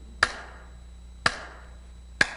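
A structural piece made of polymer is struck three times, each hit giving a short, dull chop that dies away almost at once instead of ringing, with a faint remaining tone around 1.6 kHz. Its high mechanical losses damp the resonances and move the remaining resonance down in frequency.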